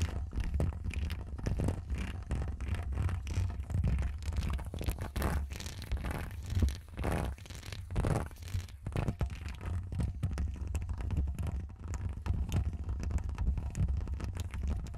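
Long acrylic nails and fingertips scratch and rub the hollow woven metal mesh grille of a bare Rode NT1 condenser microphone. The result is a continuous stream of dense, rough scratching and rustling, heavy in low rumble with a faint bright edge, rising and falling in short bursts throughout.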